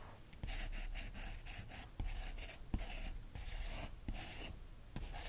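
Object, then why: Capped pen on glossy magazine paper. A capped green pen traces and lightly scratches over the printed photos on an open magazine with thin glossy paper pages. Soft, continuous scratchy strokes carry a bright papery hiss over a low rumble, with occasional light taps as the pen moves across the page.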